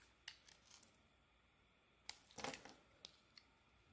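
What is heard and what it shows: A utility blade carves thick curls off a solid soap bar held in the hand; the bar has an orange, green and gold marbled coating and a pale green inside. Quiet, bright, crisp scraping clicks and short shaving strokes come through, with a denser cluster of scraping in the middle and faint isolated ticks between the cuts.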